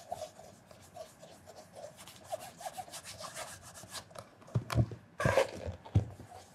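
A red cloth wrapped over fingertips rubs the toe and vamp of a black leather penny loafer with a leather sole and heel, held hollow on its side during mirror polishing. Soft, steady swishing strokes repeat in a quick rhythm, with a faint high hiss over low muffled rubbing. Toward the end, a few louder, heavier scrubbing strokes and dull bumps stand out.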